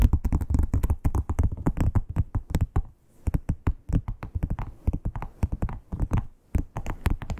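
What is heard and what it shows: Long acrylic nails tap and scratch the embossed scales of a flat red croc-embossed leather wallet. Dozens of quick, dry taps with short, bright clicky tips fall in an uneven rhythm over a soft, low thud, with a brief lull of quieter scratching near the three-second mark.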